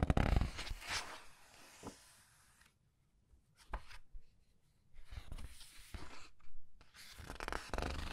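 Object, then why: Glossy paper pages of a large book. Long red nails and fingertips turn and squeeze the glossy paper pages of a large art book. Crisp rustles and bright crinkles come in bursts, separated by near-silent pauses and a soft low rumble.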